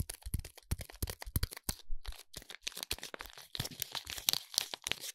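Fingers squeeze and crinkle the silver foil wrapping of a foil-wrapped soap bar, producing dense, irregular crackles and crunches. The sharp, bright crinkles are underlaid by soft low thumps from the handling.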